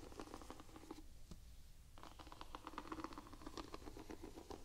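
Long nails scratch and tap the white rubber outsole, with its diamond tread, of a Vans Quasi Signature slip-on sneaker held in both hands. Quick, soft clicks and scrapes patter across the textured rubber, with a brief quieter pause near the one-second mark before the tapping resumes.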